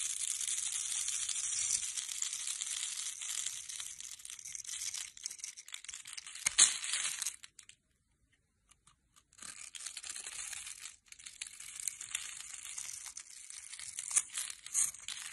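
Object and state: Soap bar being cut.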